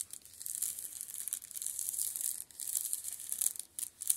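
Spread fingertips scratch and rub the plastic shrink-wrap film on the spines of a row of paperback manga. The result is a quiet, bright, crinkly scratching with no low end, running almost continuously and breaking off for two brief pauses.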